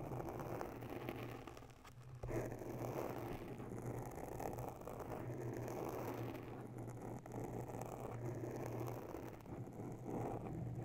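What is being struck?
Foam microphone windscreen.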